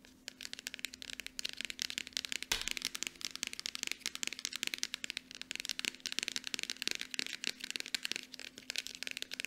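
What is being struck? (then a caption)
Small plastic lotion bottle. A small Aveeno plastic lotion bottle, held upright, is tapped quickly with long nails from both hands. It makes a dense stream of sharp, bright clicks that stop almost at once, with very little low end.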